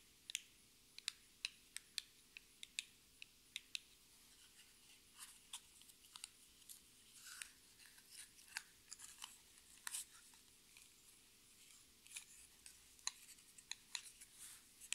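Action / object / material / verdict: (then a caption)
tap / small cardboard box / cardboard / none. A small, hollow orange cardboard lipstick box is turned in the hands and tapped and scratched with long red nails. Quiet, sharp, bright clicks come in a slow, uneven series, mixed with short papery scratching bursts in the middle. Each tap dies away almost instantly, with almost no low end.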